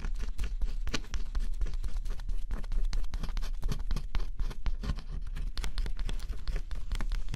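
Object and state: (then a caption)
Scratch-off cardboard jigsaw puzzle. A thin scraper stylus, pressed under a fingertip, scratches across a flat cardboard jigsaw puzzle with a black scratch-off coating. Rapid, dry, scratchy strokes follow one another almost without pause, each short and crisp with no ring.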